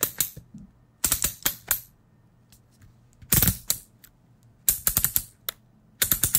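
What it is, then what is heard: Plastic electric shaver. Fingers click and tap the head and guard of a plastic electric shaver. Bright, dry plastic clicks come in quick clusters separated by short pauses, each one dying away almost instantly.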